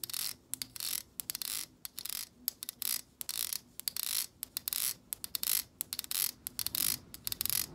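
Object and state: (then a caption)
Plastic hair brush bristles strummed with nails. Long acrylic nails strum and scratch through the long plastic bristles of a black plastic hair brush. The result is a rapid, irregular series of short, bright, dry scratching bursts, nearly all high-frequency hiss with almost no low end, separated by brief silences.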